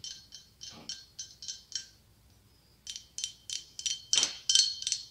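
A hollow, ribbed, opaque white blown-glass pumpkin about 15 cm across with a gold glass stem, held in one palm, is tapped with long acrylic nails. Two runs of quick, evenly spaced taps are separated by a short pause, each tap giving a bright, high, glassy ring that fades quickly. The second run grows louder.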